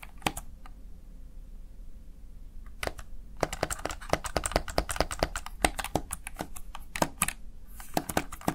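Keys on a small backlit plastic Razer Tartarus Chroma gaming keypad are pressed and tapped by the fingertips and nails of one hand. A few sharp, isolated clicks come first, then a rapid run of crisp plastic taps and clacks. The clicks are bright and dry over a faint, steady low hum.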